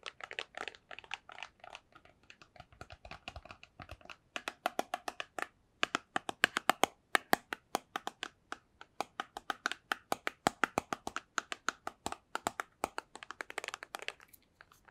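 A small, hollow white cardboard box is held in both hands and tapped with long nails and fingertips. The result is a steady stream of dry, crisp clicks and taps with almost no ring or low end, with a brief pause partway through before the tapping speeds up and grows louder and brighter.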